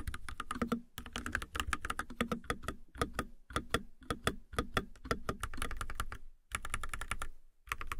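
Long nails type steadily on an RGB-lit mechanical keyboard with a white plastic case and white and teal plastic keycaps. Rapid, dense key taps make clicky, thocky strikes with a low body and bright edges, pausing briefly near one second and again around six and a half seconds before typing resumes.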